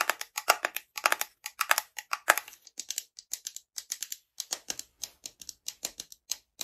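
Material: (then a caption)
Wood. Long fingernails tap and scratch the top of a light wooden, likely bamboo, screw lid on a small frosted glass jar held in both hands. Around forty quick, irregular, crisp clicks sound bright and dry, with short scratchy bursts and almost no low end or ring.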